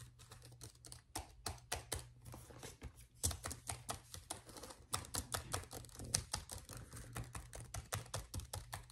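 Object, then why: Plastic laptop keyboard keys. The plastic keys of a black laptop keyboard are typed on and tapped with the fingertips of one hand, giving a rapid, uneven run of short, bright clicks. A steady low hum sits underneath throughout.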